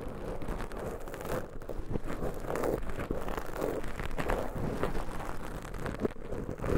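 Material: Foam.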